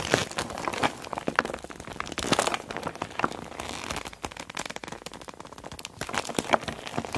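A small clear PVC zip makeup bag with a neon green zipper, full of cosmetics, is squeezed and pressed between both hands, using long black nails and fingertips. The soft plastic gives a dense run of crinkles, crackles and squelches with bright, quick ticks, swelling in short bursts before easing and picking up again.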